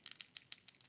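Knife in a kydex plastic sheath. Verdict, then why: Slightly loose. A White River Ursus 45 knife is shaken in its kydex sheath, giving quiet, sharp, high-pitched clicking rattles in quick bursts. The rattle comes from the sheath and is only a tiny bit, showing up only when it is really shaken around; otherwise the fit is very well made.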